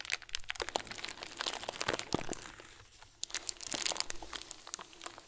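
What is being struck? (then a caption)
Plastic bag filled with small plastic beads. A hand-sized clear plastic bag full of small white plastic pearls is crinkled between the fingers. The sound is a dense run of bright crinkles and sharp crunching clicks, with little low end. It eases briefly near the middle, then picks up again.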